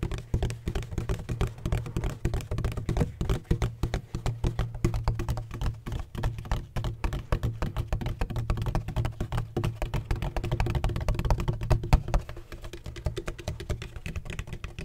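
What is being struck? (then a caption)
Hollow hard plastic ring-shaped bottle. Fingertips tap rapidly and continuously on a large, hollow, black donut-shaped bottle with a red cap and a textured hard plastic surface. The taps sound like dull, hollow knocks, with a deep low body, almost no brightness, and very short decay. They run steadily throughout, softening slightly near the end.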